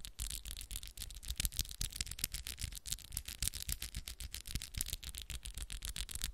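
Long pink acrylic press-on nails with black moon art tap and scratch against each other quickly as the fingers interlace. The result is a fast, uneven stream of crisp, bright clicks and scratchy rasps over soft low thuds, continuing without pause.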